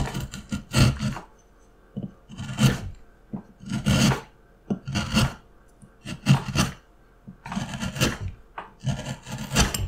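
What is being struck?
Wooden carving block and steel gouge.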